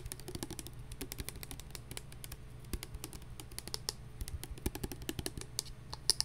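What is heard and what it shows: A translucent plastic hand sanitizer bottle with a flip cap, partly full of liquid, is held and tapped with long nails. The result is a quick, steady run of sharp, bright clicks that die out almost instantly, with a few louder taps near the end over a low, steady background hum.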